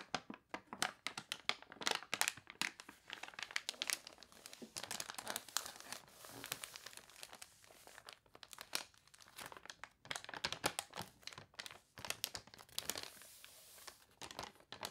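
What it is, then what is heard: Crinkly glossy paper catalog. Fingertips and long nails scratch and rub a glossy paper toy catalog page with a water-wrinkled texture, close up. Dense, bright crinkling and crunching comes in rapid bursts with brief pauses. It has almost no low end and no ring after each scrape.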